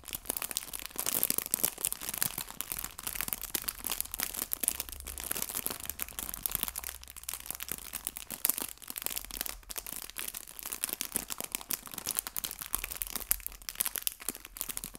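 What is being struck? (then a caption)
Thin plastic bag filled with artificial fabric leaves. A small, clear, thin plastic bag full of artificial fabric maple leaves is crinkled and rubbed with fingertips and painted nails. Dense, bright crinkling and crackling runs steadily for the whole clip, made of many quick, sharp snaps with very little low end.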